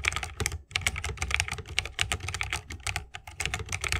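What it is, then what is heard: Mechanical keyboard in a bamboo case. Fingertips of both hands type continuously on a 60% mechanical keyboard with plastic keycaps and tactile Holy Panda switches, set in a bamboo wooden case. The result is a rapid, steady run of short, bright key clacks with a soft low thump beneath each press, every stroke dying away almost instantly.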